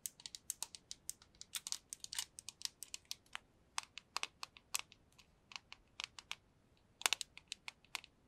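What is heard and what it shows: A small clear plastic cube box holding small pink pieces is tapped with long nails and shaken, so the loose contents rattle inside. The result is a quiet, bright run of sharp clicks and ticks in uneven bursts, with a louder cluster near the end and nothing in the low range.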